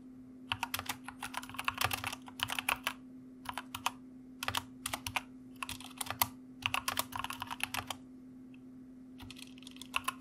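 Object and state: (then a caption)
Mechanical keyboard typing. Fingertips type rapidly on a white plastic mechanical keyboard, hands resting on a wrist rest, producing bursts of sharp, bright key clicks separated by short pauses. A steady low hum sits under the clicking throughout.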